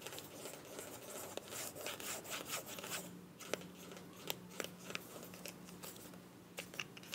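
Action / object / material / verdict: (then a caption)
tap / small plastic cosmetic tube / plastic / none. Long nails tap and scratch the body and mint cap of a small, filled white plastic cosmetic tube. Soft, bright scratching and rubbing mixes with sharp, quick taps, and a faint steady low hum runs under the second half.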